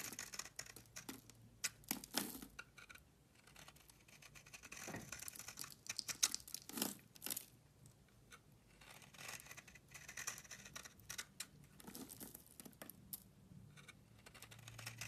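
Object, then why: Bar of soap scraped with a metal blade. A metal blade scrapes across the cut face of a solid tan bar of soap held in the hand, shaving off curls and powder. The strokes come as quiet, bright, raspy bursts with a dry crinkling texture and short pauses between them.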